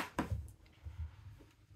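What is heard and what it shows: Two taps on the iron ferrule at the end of a wood-imitation, cane-style scabbard for a Japanese wakizashi; the tip is fitted to protect the wood when walking. Each tap is a short, low, dull knock that dies away almost at once, and the sound confirms the tip is metal.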